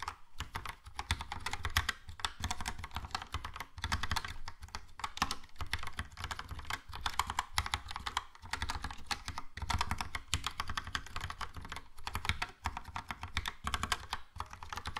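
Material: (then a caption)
Plastic. Fingertips type steadily on a Logitech POP Keys plastic mechanical keyboard with a yellow plastic case and round plastic keycaps. The result is a continuous run of quick, dry clacks, each with a low, hollow thock and a bright plastic click that dies away almost instantly.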